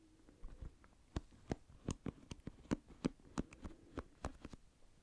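A hand-sized oval plastic paddle hairbrush with dense pin bristles is held close to the microphone while fingertips run over and flick the bristles. About fourteen sharp, dry flicks and scratches land at an uneven pace over a soft, steady low hum. Each snap is brief with no ring, and the clip stays quiet overall.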